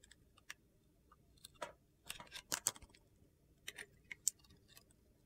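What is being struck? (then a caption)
Bar of soap. A metal utility knife blade scrapes and carves thin slices off a hand-sized, solid red and yellow soap bar decorated with glitter and gold stars, held in a hand with red nails. About ten crisp, bright crunchy scrapes and cuts come at irregular intervals, each very short and sharp with almost no ring.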